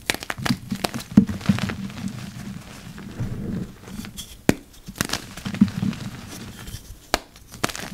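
Yellow rubber-gloved fingers press into and break apart a heap of dry, packed purple-dyed gym chalk powder and lumps. The result is soft crunching and crumbling with a low, dense body. Sharp, bright cracks and crackles break through at intervals as the lumps give way.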